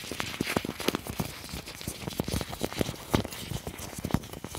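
Fingertips pinch, crumple and rub a large, thin, clear plastic apron. It makes continuous crinkling with sharp crackles and soft low rustles, and the bright crinkle stays busy throughout.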